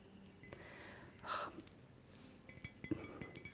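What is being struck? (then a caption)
Ceramic object. Short fingernails tap on a ceramic object, giving soft, quiet clinks with very brief ring. A cluster of light taps near the end stands out over a faint background hiss.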